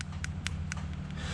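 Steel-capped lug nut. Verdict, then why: Hollow. Short, light taps on a hollow capped steel lug nut on a 2010–2020 Jeep Grand Cherokee WK2, whose thin metal cap sits over the nut. Each tap is a brief, bright, hollow tick that dies away almost at once, over a steady low hum. The cap sounds hollow and cheaply made, a poor substitute for a solid all-metal lug nut.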